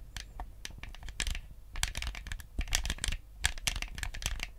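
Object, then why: Hollow plastic game controller. A white, hollow plastic Nintendo GameCube controller is held in both hands while fingertips tap and click its buttons. The result is a quick, irregular run of dry, sharp plastic clicks with bright ticks over a soft low thump. Each click stops at once with no ring.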